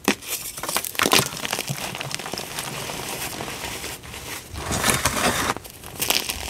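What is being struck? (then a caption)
Gym chalk blocks. Pink dyed gym chalk chunks and powder in a tray are squeezed and crumbled by both hands, with fingers and nails crushing and rubbing the pieces. A dry, bright crinkling and crackling rises in short, sharp bursts over a steady gritty rustle.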